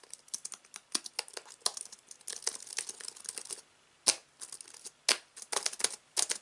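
Fingertips type on the white plastic keys of a slim aluminium computer keyboard resting on fabric. Quick, bright, crisp clicks come in uneven bursts, each one dying away almost at once with no low thud. A brief pause falls just before the four-second mark, then the taps resume with several sharper accents.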